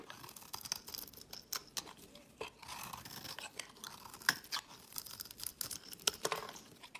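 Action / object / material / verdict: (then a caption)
scrape / olive oil soap block / soap / none. A solid, square, olive-green olive oil soap block held in the hand is shaved into crumbly flakes with a utility knife blade. Irregular, bright scraping and crunching strokes are heard, with brief sharp clicks where the blade catches and little low end.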